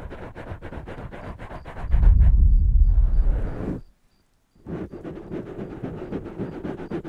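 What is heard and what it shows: Fingertips and nails of both hands scratch and tap two soft, porous black foam windscreens on studio microphones, making quick, regular scratchy taps. Midway the contact turns into a louder, deep, muffled rumbling rub, then stops for a brief silence. The rapid tapping and scratching then resume.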